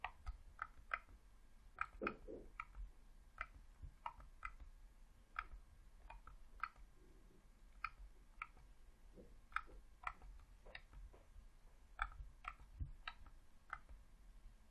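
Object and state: Plastic game controller buttons clicking.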